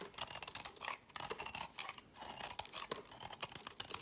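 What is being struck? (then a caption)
Soap bar scraped with a knife blade. A worn, pale green piece of solid soap is held in the fingers and scraped into crumbly flakes with a utility knife blade. Quick, repeated strokes make a dense, bright, dry scratching with almost no low end. Each stroke stops short with no ring.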